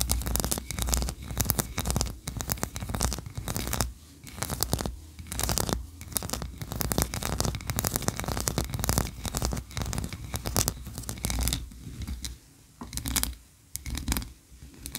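Long nails scratch and tap the tiers of a solid white ribbed wax tree-shaped candle. The result is a dense, continuous run of dry scratching mixed with quick, close-miked taps, with bright edges over a heavy low rumble.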